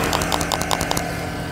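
A plastic-cased 8000mAh extended lithium battery pack for a DJI Mini drone is shaken by hand, and its loose cells rattle inside. The rattles come as quick, clicky bursts with a bright edge over a steady low hum. The pack is poorly made, with gaps inside that leave its contents unsecured.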